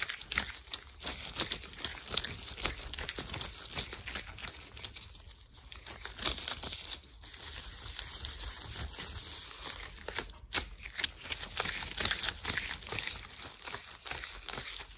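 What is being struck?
Thin latex gloves on hands.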